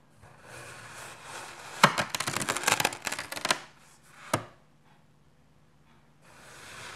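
A red plastic knife slices through a small solid cube of dark grey kinetic sand on a white surface. After a soft hiss, a dense, bright burst of crisp crunching and crackling plays, followed by a single sharp crack and then quiet hiss again.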